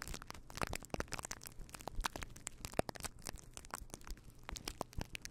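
Fingertips of both hands rub and scratch a fluffy faux fur windscreen on a microphone. The result is a dense, crackling, crinkly scratching with many sharp, brief clicks over a low rumbling rustle, continuous and uneven in loudness throughout.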